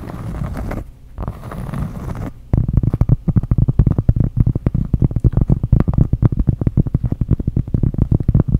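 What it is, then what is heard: Cork trivet. Long acrylic nails scratch across the porous surface of a round cork trivet with dark squares, making two muffled scraping strokes. Then come rapid, dense taps on the cork. The sound stays low and dull with almost no bright edge, and each tap stops short with no ring.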